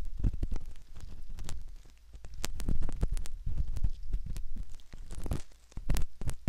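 A metal ear pick scrapes around the canal of a soft silicone ear model, making close, muffled scratching and thumping sounds dominated by a deep low rumble. The sound comes in irregular short bursts, with brief crackly scrapes and occasional bright clicks over a steady low throb.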